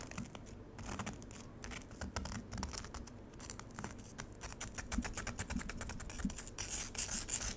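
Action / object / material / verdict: scrape / frozen lemonade in a plastic tray / ice / none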